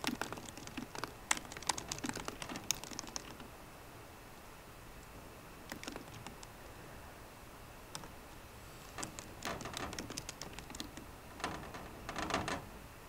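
Fingertips with short green nails tap the low-profile plastic keys of a 13-inch aluminum MacBook Pro keyboard. Quick bursts of bright, crisp clicks come in clusters, with a dense run at the start, a quiet gap, scattered taps, and then more bursts toward the end. The overall level stays soft.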